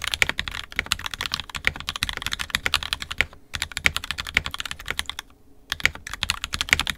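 Fingertips of both hands type continuously on an NK65 Entry Edition 65% mechanical keyboard with a purple plastic case, red and black plastic keycaps, and lubed and filmed 67g Tangies switches. The result is a rapid stream of short, bright, clacky keystrokes centered around 2.2 kHz with almost no ring and little low end. Brief pauses come near 3.5 seconds and between about 5.3 and 5.7 seconds.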